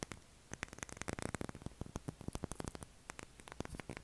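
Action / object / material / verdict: tap / bar of soap / soap / none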